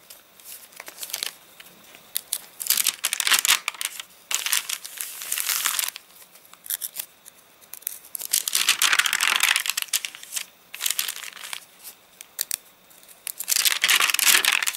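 Fingertips of both hands pinch and crinkle the corner of a page from a rain-dried paper catalogue. Bursts of dry, crisp crinkling come in irregular clusters with brief quiet gaps. The sound is bright and papery, with almost no low end.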